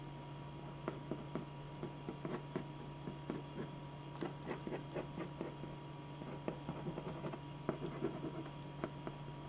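A black pen draws short, scratchy lines across a single thin white sheet of drawing paper lying flat on a dark board. A quick run of soft, dry ticks and scrapes sits over a steady low hum and a faint constant tone.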